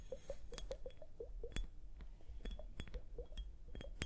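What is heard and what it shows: Long nails tap and scratch a small clear plastic liquid hourglass, full of liquid and beads and held on fur. A quick, uneven run of crisp clicks with brief bright, high pings plays over soft muted knocks and a faint low rumble. The whole passage stays quiet, with one sharper tick near the end.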